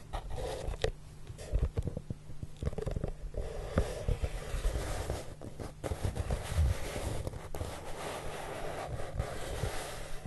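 Fingertips with short nails from both hands slide and rub across a large, flat, hollow brown corrugated cardboard box surface. The result is a soft, low, rumbling friction sound with dull brushing swishes and faint scuffs, and no tapping or voice.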